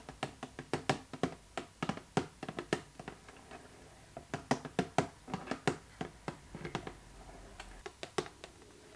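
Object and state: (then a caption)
Cardboard box tapped with fingernails. Long nails tap the sides and front of a hollow, pink printed cardboard Barbie box with a doll inside. A quick, irregular string of short, dry, hollow taps with bright clicky edges, some sharper and louder, pauses briefly in the middle and then tapers off to softer taps at the end.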